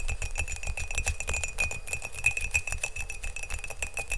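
Fingernails tap fast on the outside of an empty, hollow glazed ceramic mug, blue outside and green inside, held close to the microphone. The dense, uneven clicking carries a steady ringing tone near 2.5 kHz over low thuds, with each tap fading quickly.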